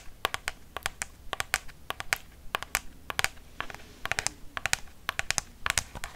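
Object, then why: Plastic lotion pump bottle. Long fake nails tap on a hollow White Dove plastic lotion pump bottle, about 20 cm tall, in quick irregular bursts of about thirty taps. Each tap is a sharp, bright, dry click that dies away almost instantly over a faint steady hiss.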